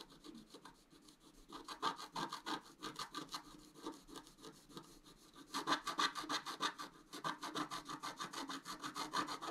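A thin wooden stylus scratches the coating of a flat black-coated scratch art card on a table, working the antler area in short strokes. It makes a steady run of dry, bright scraping strokes, about three per second, with louder stretches where the strokes press harder.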